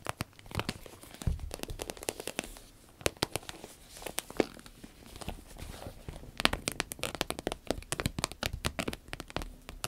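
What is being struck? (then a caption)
Small vinyl zippered pouch. Long red nails tap and scratch the top and sides of a small green-yellow vinyl zippered pouch. The result is a dense, irregular stream of crisp, dry clicks and crinkly scratching, each tap snapping off almost instantly with no ring, over a low thudding body and bright, sharp edges.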